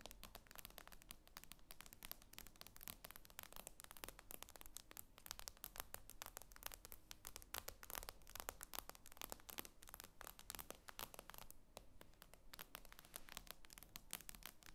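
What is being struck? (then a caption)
Glass tablet screen. Long nails tap rapidly and continuously on the glass screen of an iPad lying flat, making quiet, sharp, bright clicks with almost no ring. A low, steady hum sits underneath the dense stream of taps throughout.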